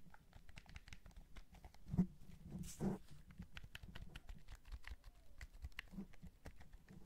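Fingertips press the buttons and tap the shell of a white PS5 DualSense, a hand-sized hollow white and black plastic gamepad held over carpet. Quiet, irregular soft clicks and taps patter throughout, dull and low-heavy with very short decay, with a couple of louder thumps near the two- and three-second marks.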